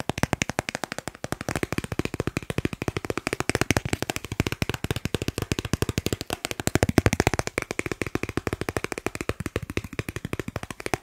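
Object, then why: Thin plastic card. A thin, solid dark blue plastic Snipes store card, held in the hands, is tapped rapidly with fingertips and nails. It makes a fast, steady stream of about a hundred short, dry clicks over eleven seconds, each dying away almost at once. The clicks have a full low-mid body and only a little bright edge.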